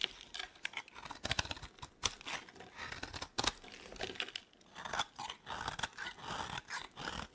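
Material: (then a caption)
Soap. A metal blade scrapes a solid, dry green soap bar while fingers with long nails handle it. The result is quiet, crisp, crunchy scraping and crumbly shaving sounds, with sharp clicking taps scattered throughout. The sound is bright and dry, with little low end and no lingering ring.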